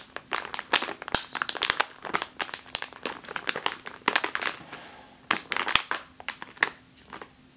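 A full plastic bag of flour is squeezed, then tapped with fingertips and nails. It gives a dense run of bright, crisp crinkles and short clicky taps with almost no low end, each sound stopping dead with no ring.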